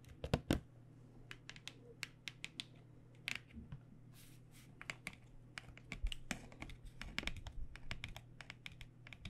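Long nails tap quickly along the narrow edge and face of a cardboard box of paint pens. Dry, short, bright clicks come in rapid, uneven bursts, with a few louder taps near the start. A steady low hum runs underneath throughout.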